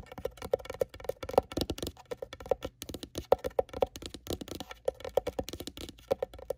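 Long nails tap rapidly on the domed lid of a closed, hollow, dark grey faux-leather-covered hard-shell glasses case. Each tap is a short, dry click with a hollow mid-pitched tone around 530 Hz that dies away almost instantly.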